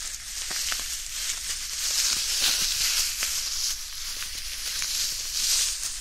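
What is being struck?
Nothing is struck.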